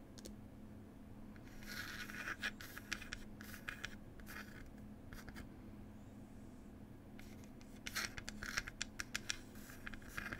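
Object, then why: Small wooden box lid. Long pointed nails scratch the printed wooden lid of a small wooden "Cherry Tea" box, likely hollow, making dry, bright scratching bursts mixed with quick sharp ticks over a steady low hum. The scratching swells around the second and eighth seconds, with short clicks in between, and each sound stops almost instantly.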